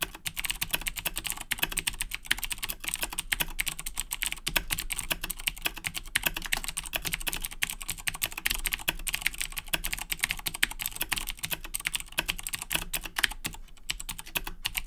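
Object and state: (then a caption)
Plastic mechanical keyboard with clicky switches. Both hands type steadily with their fingertips on a black Razer BlackWidow 2010 Edition mechanical keyboard with plastic keycaps and clicky Cherry MX Blue switches. A dense, continuous stream of sharp, bright clicks sounds, each one short and crisp with almost no ring, over a faint low hum.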